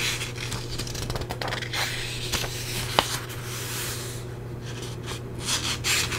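Long-nailed fingertips rub and scratch across the thick paper pages of an open paperback book held in one hand. The result is a continuous bright, dry scraping and rustling with brief flicks, a single sharp tick near the middle, and a steady low hum underneath.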